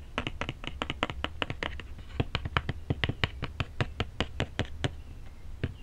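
Fingertips and nails tap and scratch the top of a flat, hollow, printed cardboard cookie box lying on a desk, with an earphone mic held close. A rapid, uneven series of dry, hollow taps, each a short low thump with a bright clicky edge, comes over a faint scratching rustle. Every tap dies away almost instantly.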